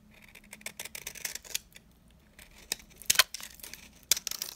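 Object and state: Dry soap bar cut with a knife.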